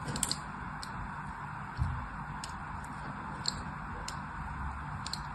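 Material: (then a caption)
Soap. A thin metal blade scratches and scores crosshatch lines into the surface of a solid white bar of soap held in the hand, and the bar is rotated at the end. Quiet, crisp scraping ticks and bright little clicks come at an irregular pace over a steady soft hiss and low rumble, with one duller thump partway through.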